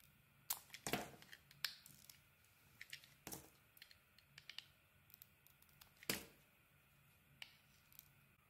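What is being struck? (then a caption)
Bar of soap shaved with a metal blade. A solid pink bar of soap with a yellow core, held in the hand, is shaved with a metal utility blade. It makes quiet, bright, crisp scraping and crackling cuts, a string of short dry strokes with a few louder, longer shaves among them.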